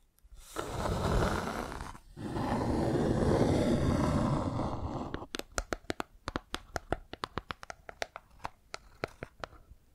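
A rectangular hollow wooden box with light wood edges and a dark top panel, held in both hands, is scratched with long nails in two long, dense, rumbling passes. This is followed by a quick, fairly steady series of sharp, distinct taps on the box, each a short knock with a bright click at the top.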